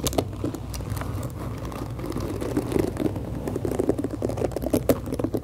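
Long acrylic nails tap the hollow plastic back of a pink plastic detangling hairbrush with black bristles and scratch the bristles close to the mic. Quick, dry clicks and crinkly scratching sit over a steady low rumble. Each sound dies away almost at once.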